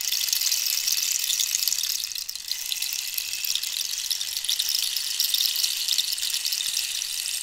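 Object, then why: Dried cactus wood rainstick. Long nails scratch and tap along the ridged wood of a hollow, dried cactus rainstick held in one hand. The result is a steady, bright, hissing scratch with fine rapid ticks and almost no low end, dipping briefly in level about two seconds in before continuing evenly.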